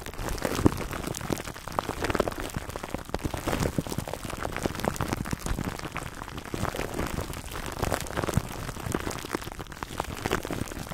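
Fingertips scratch clear cling film wrapped over a black foam microphone windscreen. A steady, dense crackling crinkle of many tiny dry clicks runs throughout, with a heavy, muffled low end and little brightness.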